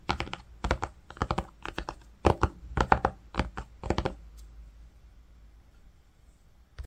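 Fingertips and nails scratch and tap across grey-green woven cotton fabric, tracing on the cloth. Clusters of short, dry scratchy taps come in quick bursts for about four seconds, then fade to a quiet hush.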